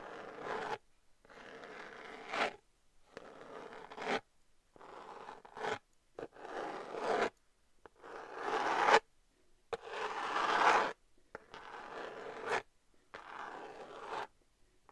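Long nails scratch the rough glitter surface of a rose-gold glitter cardboard eyeshadow palette in repeated strokes. Each stroke is a dry, raspy scrape with a bright, gritty edge, separated by short silences, and the strokes swell and fade at an uneven pace.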